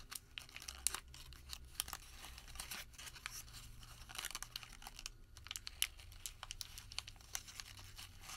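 A crumpled white thermal paper receipt is twisted and pulled between fingertips, giving quiet, dense crinkling. Sharp, bright crackles and brief tearing-like rustles come and go over a faint steady low hum.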